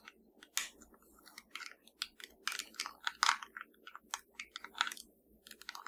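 A small, hollow black plastic TV remote with blue and purple rubber buttons is held in one hand and tapped and scratched with the long nails of the other hand. A quick, irregular run of crisp, dry clicks and bright scratchy ticks stops almost instantly, with soft rustling and a faint low hum between them.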